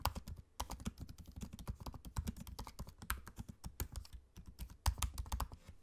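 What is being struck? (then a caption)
Laptop keyboard with plastic keys in a metal body. Both hands type steadily on a laptop keyboard with plastic keycaps set in an aluminium body, fingertips tapping the keys close up. The result is a rapid, uneven stream of short, dry clicks with a soft low thump under each press, plus a few sharper, brighter key strikes that stand out.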